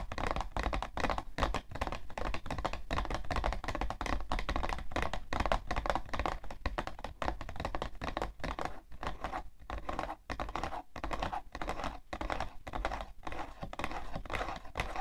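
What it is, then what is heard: Cardboard tissue box. Long nails tap and scratch on the side panel of a hollow, printed cardboard tissue box in a steady, rapid stream of taps. The hits are short, dull and hollow-sounding with a low, thuddy body and almost no ring, with scratchy rustles between them for the full fifteen seconds.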